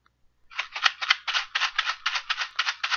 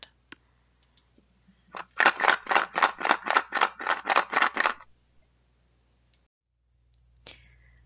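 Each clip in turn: First: box of wild rice being shaken. Second: box of seashells shaken.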